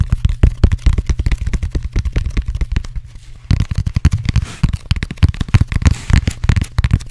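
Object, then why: Closed-cell foam roller. Fingertips and nails rapidly tap and scratch the pebbled surface and end of a black textured closed-cell foam roller, a hollow cylinder held close to the microphone. The result is a fast, uneven stream of short, deep, dull thumps with very little high end and almost no ring, easing briefly to a quieter patch of lighter taps before picking back up.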